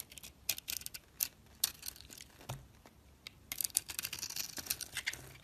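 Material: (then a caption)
Soap. A box-cutter blade shaves curls off a solid oval soap bar with a teal outer layer and an orange core, held in the hand. The result is a run of quick, bright scraping and crisp crackles. Louder bursts come near the start and again in a dense stretch toward the end.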